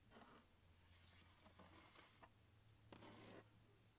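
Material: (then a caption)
Plastic. A palm and fingertips rub and scratch the lid and vent grilles of a large, hollow, closed turquoise hard plastic glockenspiel case. Quiet, dry scratching and brushing sweep over a steady low hum, with a brief, brighter scrape near the end.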